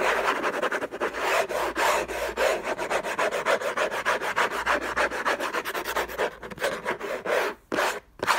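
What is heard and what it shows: Fingertips and short nails scratch the lid of a long, rectangular, closed orange Hermès cardboard gift box covered in textured paper, lying on a fluffy blanket. Fast, irregular dry rasping strokes follow one another with broad midrange-to-bright friction noise, ending in a few brief pauses.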